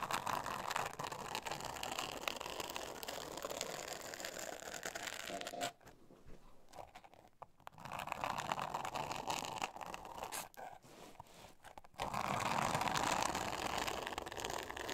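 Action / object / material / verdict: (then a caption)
scrape / thin board covered with glitter paper / glitter paper / none. Long nails scratch the surface of a flat, thin, solid pink board covered in glitter-textured paper, making a dense, bright, rasping scratch centered in the upper midrange. The scratching eases to near-quiet around six to eight seconds and again just before twelve seconds, then returns at its loudest to the end.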